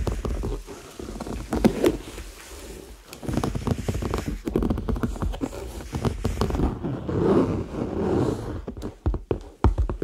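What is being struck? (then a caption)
Faux leather handbag. Fingertips and nails tap and scratch the surface of a medium-sized, hollow red handbag made of smooth, likely faux, leather, held up near the microphones. The result is a dense run of soft, dull, low-pitched taps and brushing scratches with almost no ring and very little high-end brightness.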